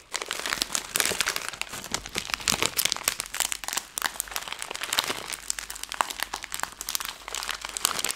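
A plastic-film Skittles candy bag is squeezed at the top in a fist, then the whole bag is crumpled between both hands. A dense, bright crinkling of sharp crackles runs for about eight seconds with almost no low end, pausing briefly near the midpoint before continuing.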